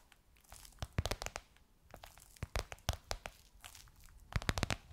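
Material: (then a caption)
Faux leather. Long nails tap and scratch across a gold crocodile-embossed faux leather pillowcase covering a soft cushion. The result is a quiet run of sharp, dry clicks and crinkly scrapes with a bright edge, clustering in bursts with short pauses between them.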